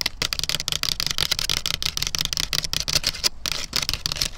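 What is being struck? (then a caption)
Standing dry corn stalk with papery leaf sheaths. Long black nails scratch and tap along a standing dried corn stalk, fibrous and somewhat hollow, with papery leaf sheaths. The result is a rapid run of dry, crackly, papery clicks and scrapes, mostly bright and high-pitched, each dying away almost instantly.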